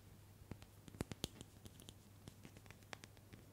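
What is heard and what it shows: Long manicured nails tap and scratch a small glass nail polish bottle with mint-green polish inside and a metallic cap, held in one hand. It makes a quiet, irregular run of sharp, dry clicks and brief scratches that stop instantly, some bright and ticking. A faint low hum runs steadily underneath.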